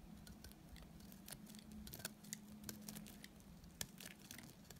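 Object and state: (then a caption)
Dry soap bar being shaved. A utility knife blade shaves a small, solid, dry white soap piece held between the fingers into crumbly flakes. Quiet, dry scraping and cutting sounds come as short, bright clicks and crackles with almost no ring. A steady low hum sits underneath.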